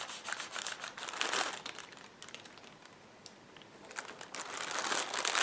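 Fingertips and nails rub, scratch and press across several clear polyethylene air pillow packing cushions, hollow and filled with air, lying flat on a table. Bright, crinkly plastic scratching comes in dense bursts, dips to a soft rustle in the middle, then swells louder toward the end.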